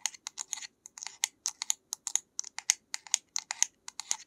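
Long nails tap and scratch on the cap and label of a small white plastic bottle, making about 26 quick, sharp clicks in a steady, uneven rhythm. The clicks are bright and dry, with almost no low end, and each one stops at once with no ring.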